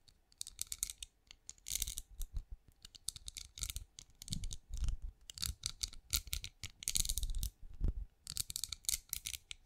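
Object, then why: Pinecone-shaped wax candle. Long acrylic nails tap rapidly on a hand-sized cream pinecone-shaped wax candle that appears solid, held beside a microphone. Many quick, dry clicks come in uneven bursts, each bright and crisp with a soft low thump beneath, and they stop almost instantly with no ring.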